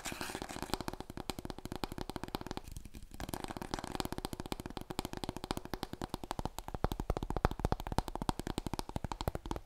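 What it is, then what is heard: Hollow cardboard tube. Long nails tap quickly and scratch along a large, long, hollow, empty brown cardboard paper roll core held horizontally. A steady stream of rapid, dry taps gives a low, hollow thump that dies almost instantly, with a brief scratchy stretch around three seconds.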